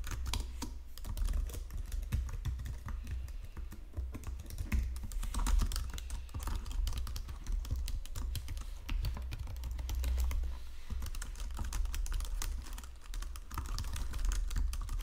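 Fingertips and nails type steadily on a white plastic Logitech keyboard resting on marble. A continuous stream of quick, bright key taps and presses runs for the whole clip over a steady low hum.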